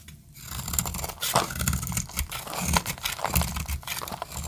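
A solid light-green oval bar of dry soap held in the hand is cut with a metal utility blade, making a continuous run of dry, crunchy scraping and crackling. Bright, brittle crackle sits over soft low thumps as crunchy flakes break off the bar.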